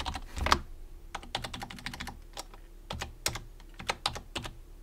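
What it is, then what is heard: Plastic computer keyboard being typed on. Fingertips type on the main keys and numpad of a white plastic computer keyboard. About two dozen quick, crisp clicks and taps come in uneven bursts, each dying away almost instantly, with a low hum underneath.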